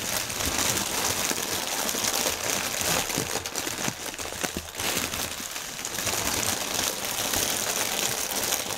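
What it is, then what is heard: Plastic air cushion packaging film. Hands lift and squeeze one clear plastic air-pillow section of a strip of air cushion packaging film, crumpling the thin film. A dense, bright, steady crinkling fills the clip, easing slightly around the middle before building back to full intensity.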